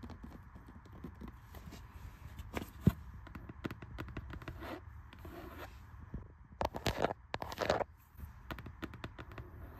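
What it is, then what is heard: Cloth-bound hardcover book, tapped and scratched. A small green cloth-bound hardcover library book with a solid paper block lies on a carpet tile floor while long red-painted nails tap and scratch its cloth cover and page edges. Many soft, dull taps mix with rasping scratches, the low end dominating. One sharp tap stands out, and louder bursts of scraping come later.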